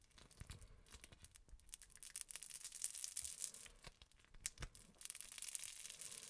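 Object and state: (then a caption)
Crunchy foam-bead slime. A lump of green and yellow crunchy foam-bead slime is kneaded and squeezed between the fingers of both hands, up close. It makes a dense, quiet run of bright crackling, popping and squishing crunches that swell and fade as the slime is worked, with occasional deeper soft thumps.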